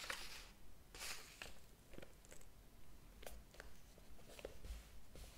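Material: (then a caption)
Paper. Fingertips lift and flip single paper pages of a large, thick hardcover book lying open on a table, the pages curling as they turn. Soft, dry papery swishes and crisp rustles with bright edges recur at an uneven pace over a low, quiet background rumble.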